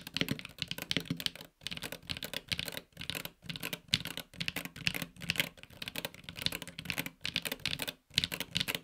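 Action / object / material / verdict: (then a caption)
tap / mechanical keyboard with aluminium case and PBT keycaps / aluminium, plastic / none. A 65% mechanical keyboard with a silver aluminum case and grey/red PBT keycaps is typed on with the fingertips of both hands. The result is a steady stream of bright, short, clacky keystrokes. The typing is broken by brief pauses.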